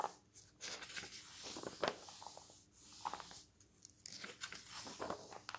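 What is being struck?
Glossy paper magazine.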